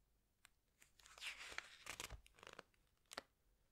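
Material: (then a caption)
Glossy paper. Fingertips with long nails press and squeeze the glossy paper pages of a large open hardcover book, then turn a page. Soft, bright crinkling and swishing rise and fall with sharp little clicks and crackles. The sound is quiet and close, ending in a crisp snap before fading back to near silence.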